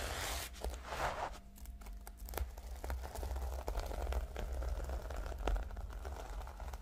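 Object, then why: Notebook with plastic sequin cover. Long nails of both hands scratch and tap the reversible plastic sequin cover of a flat notebook, making a dense, continuous crinkling and rustling with many small clicks. Brief bright tearing sweeps come early, over a steady low hum underneath.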